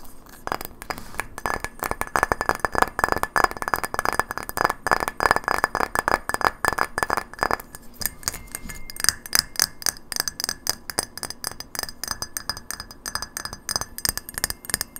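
Long fingernails tap quickly on a hollow, hand-sized frosted white glass light bulb, first while it is held in the hands and then as it rests on a wooden table. While it is held, the rapid taps give bright glassy clinks with a mid-range ring around 1 kHz. Once it is set on the table, the ring drops away, leaving sharper, higher clicks that die out almost at once.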